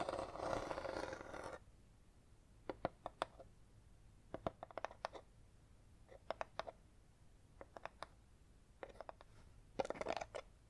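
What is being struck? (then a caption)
Small cardboard box with textured paper finish. Long red acrylic nails tap and scratch the lid and sides of a small, apparently hollow red box with a linen-textured paper/cardboard finish, held in the hands. A dense scratchy rustle opens the clip, followed by scattered clusters of sharp, dry clicking taps over quiet, and a short burst of scratching near the end.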